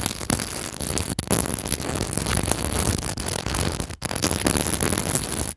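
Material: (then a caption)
Glass beads. A mini microphone's metal mesh grille is scratched and rubbed across a decorative pillow densely covered in small white and pearl seed beads and clear glass bugle beads, in a store. A dense, noisy crackle of clicking beads runs continuously, with brief dips in between.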